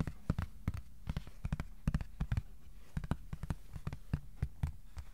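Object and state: Cardboard sheet tapped with fingertips.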